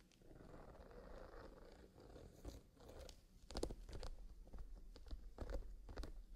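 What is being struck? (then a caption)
Leather zippered pencil case holding pencils. A small black leather zippered pencil case filled with colored pencils is held flat in both hands and squeezed and rubbed with fingerless-gloved fingertips, as the fingers move toward the zipper at the end. A soft, steady rustle of leather gives way to sharper, irregular crackles and clicks in the second half, all at a quiet level.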